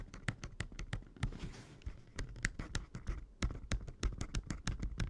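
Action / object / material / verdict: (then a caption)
tap / plastic handheld game console / plastic / none. Fingertips and nails tap and click around the screen bezel and hinge of an open red Game Boy Advance SP, a small hollow plastic handheld console. The result is a quick, uneven run of short, dry plastic clicks, each with a low hollow thud and a bright tick. A brief soft scratchy rustle comes partway through.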